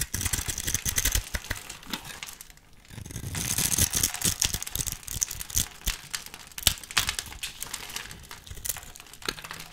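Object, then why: Bar of soap. A utility knife blade scrapes and cuts into a solid, hand-sized, pre-scored bar of pale pink soap held in the hand, breaking off small cubes that fall away. Dense, bright crinkling scrapes and sharp crumbly clicks run almost continuously, with a brief lull just before the three-second mark. A heavier scraping burst follows, then the crisp cutting continues to the end.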